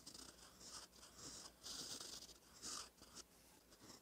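A gold metal fountain pen nib, held by fingertips, scratches across a thin cream lined notebook page while writing cursive. Quiet, bright, papery scratching comes in uneven bursts of strokes, with the louder swells where the nib presses or moves faster, over a faint low hum.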